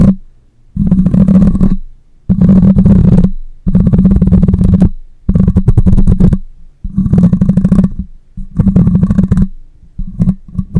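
The metal mesh grille of a black microphone is scratched with nails and rubbed with the fingers, producing loud bursts of gritty, deep rumbling noise, each lasting about a second or more. The bursts are separated by brief quiet gaps and are dominated by low, muffled friction with very little high-frequency content.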